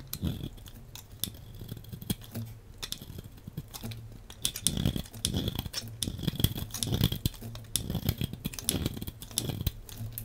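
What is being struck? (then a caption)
Bar of soap cut with a metal blade. A hand-sized, solid translucent green striped bar of soap is held in the hand and sliced into thin flakes with a metal blade. Rapid, crisp cutting and crackling sounds come in dense bursts, each with a dull low thud and a bright, dry snap that dies away almost instantly. The slicing grows busier and louder partway through.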